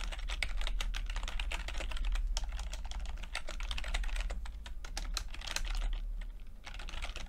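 Fingertips of both hands type continuously on a full-size plastic computer keyboard with red and blue backlit keys and low-profile keycaps. The result is a quick, steady stream of short, bright clicking taps that die away almost instantly, with a constant low hum underneath.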